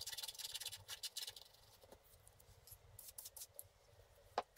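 A wooden stick scratches the black layer off a flat, wax-coated scratch art card over the blue areas underneath. Quick, bright, papery scratching strokes come in a dense burst at first, then thin out into quieter, sparser scrapes. A single sharp tick lands near the end.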